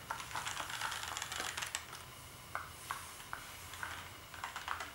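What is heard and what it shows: Fingertips type on a black plastic gaming keyboard, producing a rapid, uneven flurry of bright plastic key clacks. The clacks thin out into sparser, separate presses with a short, dry decay over a low background hum.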